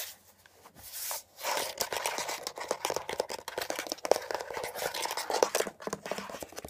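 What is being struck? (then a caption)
Hollow plastic air freshener dispenser housing. Long nails rub and scratch the textured surface of a beige hollow plastic air freshener dispenser housing with leaf cutouts, lying on its side on a blanket. Quick, dry, bright scratches and clicks come in a fast, irregular stream after a few brief hissing strokes at the start.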